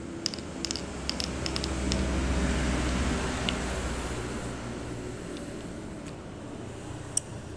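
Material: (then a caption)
Nut shell. A candlenut with a blackened shell is dropped onto a ceramic floor tile, giving a quick run of sharp, high, clear clicks as it bounces, with later isolated ticks over a low background rumble. The clear ringing sound marks it as a mature nut ready for fighting.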